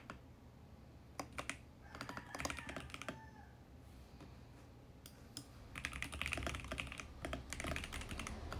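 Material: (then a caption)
Plastic. Fingertips type steadily on a compact VGN X68 mechanical keyboard with plastic keycaps and a plastic case. Sharp, bright clacks come in irregular bursts over a low, steady background hum. The typing pauses briefly in the middle, then resumes in a denser, louder run.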